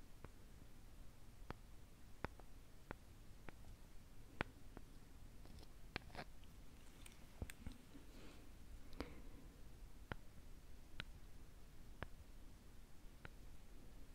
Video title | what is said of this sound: Sleepy Russian Souvenirs 🎁 ASMR • Soft Spoken • Wood • Lid • Tapping Sounds | perfect for tapping inside the spoon. Very gentle and delicate sound